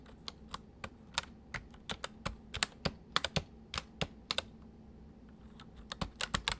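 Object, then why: Plastic mechanical keyboard. A full-size white plastic mechanical keyboard with white keycaps sits on a wooden desk; the left hand types on the main keys while the right hand taps the numpad with its fingertips. Sharp, bright clicks sound in an irregular rhythm, each dying away almost instantly, with a brief lull before a quicker burst of taps at the end.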